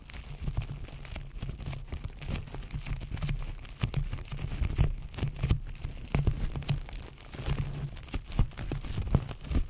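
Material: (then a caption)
Plastic film. Fingertips pinch, scratch and crinkle clear plastic cling film wrapped around a microphone. The result is a dense, continuous crinkling with a heavy low rumble from the handling, punctuated by frequent sharp crackles and pops.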